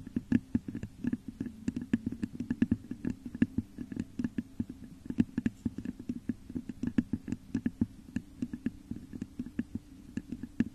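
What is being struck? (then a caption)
Textured glass vase. Long nails scratch and tap the top of a hollow, textured, clear glass vase set upside down over a microphone. Dozens of quick, dry clicks land over a steady low, hollow resonance, with faint bright ticks and almost no ring after each tap.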